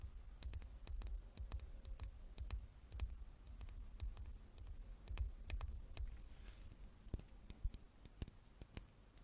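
A small, solid, dark-stained wooden chess king, held in both hands above an open chess box, is tapped and scratched with long nails. Rapid, irregular dry clicks come in quick bursts over soft scratching and a steady low rumble, with each tap dying away almost instantly.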